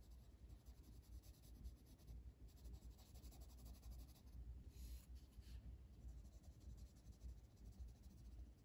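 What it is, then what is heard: Colored pencil shading on paper. The lead of a blue wooden colored pencil, held in the fingertips, is rubbed back and forth across an open paper coloring book page lying flat as a solid sheet while shading. The result is a soft, continuous scratchy rubbing in quick, uneven strokes, quiet and dull, with faint bright hiss over a low rumble.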